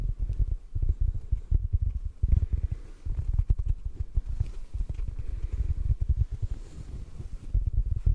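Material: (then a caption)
Foam. Fingertips tap rapidly on a yellow porous sponge, making a dense run of soft, muffled low thuds. Each tap is short and dry with no ring, and the sound stays deep and dull with no bright edge throughout.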